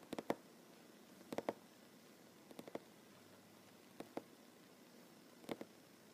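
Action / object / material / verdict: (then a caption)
tap / wooden tabletop / wood / none. Fingernails and fingertips of both hands tap slowly on a solid wooden tabletop with seams, in a soft drumming rhythm. Quiet, dry, low-mid knocks come in five small bunches of two or three taps, each dying almost instantly, with near silence between bunches.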